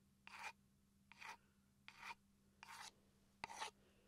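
Five short, bright rasping scratches are made with a wooden pencil on a small solid wooden chopping board held upright near the microphone, and the last one opens with a sharp click. Each lasts about a quarter second, with quiet gaps between them over a faint, steady low hum.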